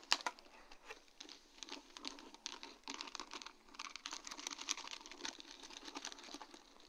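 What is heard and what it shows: Long dark-painted nails tap across a sheet of large, round, faceted acrylic rhinestones set on a plastic mesh backing. The result is a quiet, steady stream of quick, bright clicks and crinkly ticks with almost no low end. Each tap dies away instantly.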